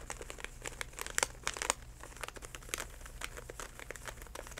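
A DenTek plastic floss pick pouch is held in both hands and squeezed and crinkled with the fingertips, giving dense, bright crackles and sharp snaps. Louder pops stand out above the steady crinkling, over a faint low hum.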